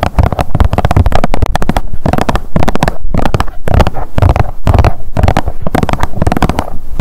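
Long nails rapidly tap and scratch a blue Biore UV plastic squeeze tube lying on a mat. The result is a dense, nearly continuous run of quick, hollow plastic clicks and scrapes with a heavy low thump beneath them.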